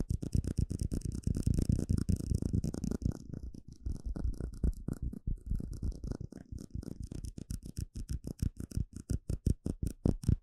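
A small, hollow, empty clear plastic cup is held in the hand while fingertips and nails tap and scratch its sides. The result is a rapid run of short, dry, low-pitched taps with quick hollow thuds and brief scratchy bursts that fade almost instantly.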